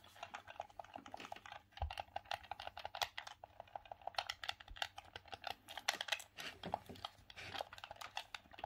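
A hollow grey plastic Sega Saturn gamepad is held in both hands while the thumbs click its face buttons and D-pad. The result is a quick run of short, dry plastic clicks with a bright, crisp tone centered near 2 kHz. Each click dies away almost instantly, leaving very little low end.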